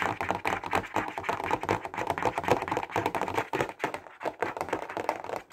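A clear plastic box full of highlighters is tapped fast with the fingertips and nails. The result is a rapid, uneven stream of short, dry plastic clicks centered in the mids, with little low end and a brief dip in activity near the four-second mark.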